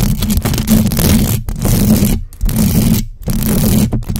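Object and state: Metal mesh microphone grille being scratched.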